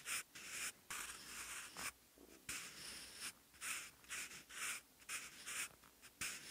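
A wooden graphite pencil, held in the fingers, writes handwritten Korean text on lined, textured cream notebook paper. It produces bursts of bright, dry scratching with short pauses between strokes, and almost no low end.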